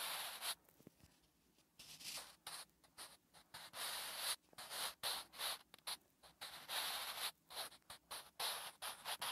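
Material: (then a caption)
Paper. A wooden graphite pencil writes Korean letters on a flat, solid lined paper notebook page, making short, bright scratching strokes separated by brief pauses. The strokes come in uneven bursts of dry, hissy scraping with almost no low end.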